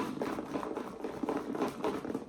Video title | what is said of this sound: Rise & Shine Storytime: That Pup! | sounds like there's something fun in there